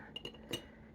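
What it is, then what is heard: Glass container. Glass containers holding art supplies are tapped, giving a few light, bright clinks with a high ringing tone near 2.9 kHz that fades quickly. Faint low background hum sits underneath.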